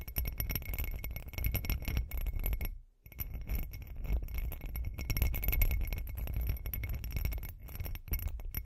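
Long green acrylic nails tap rapidly on the sides of a hand-sized hollow textured glass cup with glitter, making dense, short clicking and clinking taps. The tapping runs continuously with a brief pause near the three-second mark, with a strong low thud body and faint bright ringing tones above.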